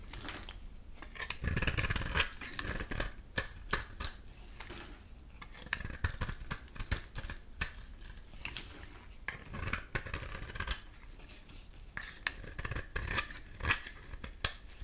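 A metal utility-knife blade scrapes a solid pink rectangular bar of soap held in the hand, shaving off thin curls and flakes. Repeated crisp, dry scraping strokes come with a bright, hissy edge and short sharp clicks, over soft low rumbles between passes.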